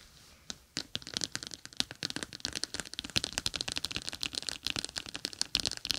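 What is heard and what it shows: Long acrylic nails tap and scratch across a palm-sized clear plastic pouch filled with small gel beads, a gel bead eye mask lying over binaural microphone ears. Quick, irregular crisp clicks and crackly scratches come in a dense, bright stream after a brief quiet start, each one dry and short with almost no ring.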